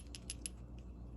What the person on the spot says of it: you can hear when you shake it that the switch is kind of loose